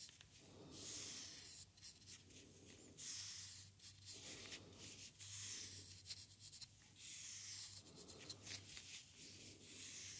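The edge of a wooden craft stick scratches and scrapes across a small, hollow white foam paint roller sleeve with a red core, held close up. Bright, dry rasping strokes come in uneven bursts every couple of seconds over a faint low hum.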